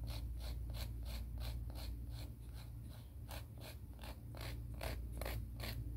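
A grey emery board nail file is drawn in quick, steady back-and-forth filing strokes against its grit, about three per second. Each stroke makes a soft, bright, breathy rasp over a constant low hum. The scraping rhythm stays even and quiet throughout.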